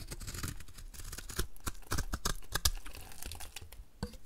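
A utility knife blade scrapes flaky shavings off a solid, rectangular, embossed white bar of dry soap held in the hand. It makes a series of short, dry, crunchy scraping strokes with bright, crackly edges over a low rumble. Sharper crisp cuts stand out near the middle of the clip.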